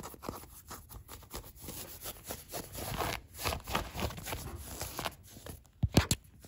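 Fingertips and nails scratch and rub blue denim jeans worn on the leg, including a frayed ripped area and the soft fabric over the thigh. The result is a steady run of dry, scratchy brushing strokes with a low, muffled rumble beneath them. Near the end come two sharper, louder thumps.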